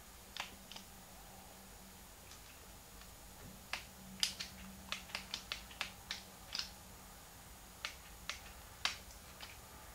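Fingertips press and click the plastic buttons of a small, hollow, translucent pink plastic Game Boy Advance held in both hands. Fifteen short, bright, dry clicks sound in irregular clusters over a quiet, low background hum.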